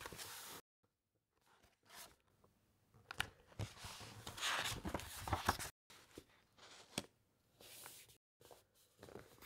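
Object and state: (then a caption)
Thick paper encyclopaedia pages being rubbed and turned. A large open encyclopaedia with thick matte paper pages is handled as fingertips and nails rub across the pages and turn to the next spread. Soft, dry, papery rustling and scraping swell and fade in uneven bursts, with brief bright crinkles and short silent gaps between strokes.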